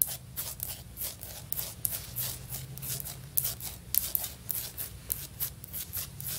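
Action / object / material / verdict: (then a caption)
tap / ceramic floor tile / ceramic / none. Long nails tap and scratch across a solid, stone-pattern ceramic floor tile, giving about sixteen quick, bright clicks in an uneven rhythm. Soft, scratchy rasps fill the gaps, over a faint, steady low hum.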